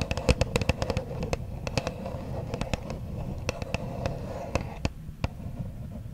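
Long nails tap and scratch the front face of a small white Versace perfume box made of printed cardboard, held in both hands close to a microphone. Irregular, dry, sharp clicks ring out over a continuous low, papery scratching rustle. Each tap dies away almost instantly.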